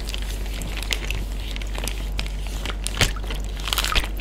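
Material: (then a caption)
Plastic. A flat hand taps, pats and crinkles a clear Ziploc plastic bag full of water with its fingertips and short nails, with other bags lying at the edges. Soft, irregular crinkling and tapping with bright, crackly plastic rustles runs over a steady low hum. A few sharper taps stand out near the end.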